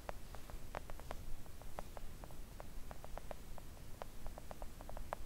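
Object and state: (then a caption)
Silicone nail art mat. Long acrylic nails gently tap a flat pink silicone nail art mat lying on a table. The result is a quick series of soft, dull, short taps with no ring, heard over a steady low background hum.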